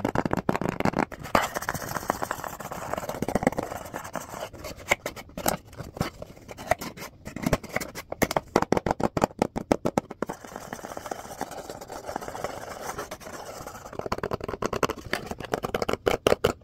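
A small printed cardboard box that looks empty is held in one hand and tapped and scratched with fingertips and nails. Bursts of rapid, dry papery taps alternate with stretches of continuous scratchy scraping across the box surface, with short hollow knocks standing out throughout.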